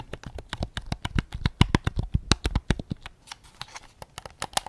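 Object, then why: Plastic game controller. A white PS5 DualSense controller with a hollow hard plastic shell is held up in both hands while fingertips and short nails tap its back and grips. About 22 quick, irregular taps each give a dull, low, hollow knock with a very short bright click and almost no ring.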